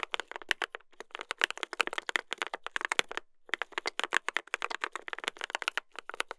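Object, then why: Mechanical keyboard with brass plate and plastic keycaps. Two hands type continuously with their fingertips on a mechanical keyboard with a brass plate and plastic keycaps. The result is a rapid stream of crisp, bright clacks with almost no low end and no ring, broken by a brief pause in the middle.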